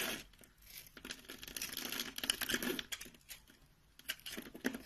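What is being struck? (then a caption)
Bar of soap. A box-cutter blade shaves and slices scored cubes off a solid light peach bar of soap held in the palm. It makes quiet, dry, crisp scraping and crumbly crackling, mostly high and bright, in irregular rapid bursts with short pauses between cuts.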